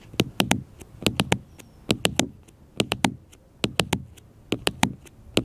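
Fingertips and nails tap a black smartphone with a glass screen held on a table, producing 19 short, crisp clicks. The taps come in quick groups of three with pauses between, six triplets and a final tap, each dying away almost instantly.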